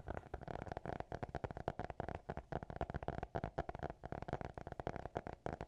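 A small, closed black hardcover notebook held in both hands is tapped and scratched rapidly with the fingertips, possibly with faint whispering. The result is a dense run of quick, dry, short taps with a hollow mid tone around 700 Hz and soft scratching between them.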